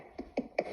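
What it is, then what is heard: Baked soda bread loaf (hollow, cooked through). A freshly baked soda bread loaf, still hot and turned on its side, is tapped four times on its underneath. Each tap gives a short, hollow knock with a mid-pitched body and a faint brighter edge that dies away almost at once. The hollow sound shows the loaf is baked through and ready.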